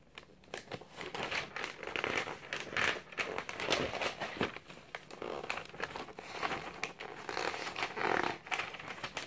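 A thick glossy paper magazine is held open in one hand while the other hand turns and flicks its thin pages. The result is a continuous, crinkly paper rustle of quick overlapping crackles, bright and airy with almost no low end.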